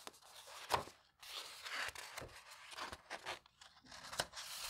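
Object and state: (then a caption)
Old paper book pages. Fingertips flip the thin, aged paper pages of a vintage botanical book lying open and press them flat. Soft papery rustles and crisp, bright flicks of turning pages follow one another, with a few sharper snaps as sheets settle. Quiet brushing fills the gaps in between.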